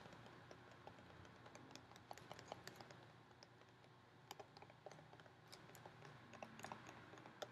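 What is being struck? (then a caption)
Thin plastic clamshell container with almonds. Long painted fingernails tap a clear plastic clamshell container, about half full of sliced almonds, held in one hand. Quick, light, dry clicks patter irregularly across the clip, each dying away almost instantly, with a bright plastic tick around 800 Hz. A soft low hum runs underneath.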